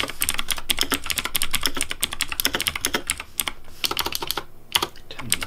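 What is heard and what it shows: Fingertips type quickly on a pink Razer Deathadder V3 plastic mechanical keyboard with hollow plastic keycaps. Rapid, bright, clacky keystrokes with very short decay run over a low thud, with a brief lull near the end before the typing resumes.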